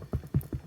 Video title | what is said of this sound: Irish Soda Bread | if it sounds partially hollow, it's done.